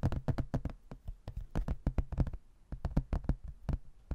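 Fingernails tap and scratch along the edges of a rigid, laminated hardboard placemat, a solid thin board printed with a photo of a white building and held in both hands. A quick, uneven run of short, dry, low-pitched taps stops briefly midway and then resumes.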